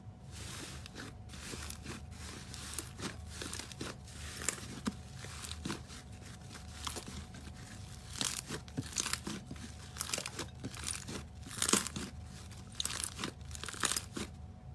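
A large mass of soft white slime in a clear glass bowl is stretched, folded and squeezed by both bare hands. It makes a steady stream of wet, crinkly crackles and bright popping bursts, some louder than others, over a low rumbling bed and a faint steady tone.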